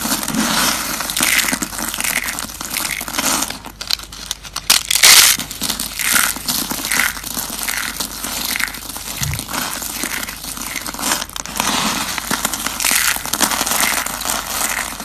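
Fingertips grab and crush small handfuls of crumbled brown dried soap curls and flakes resting on wood, rubbing them together. A continuous bright, dry crackling and crunching runs throughout, with a louder burst of crushing near the five-second mark.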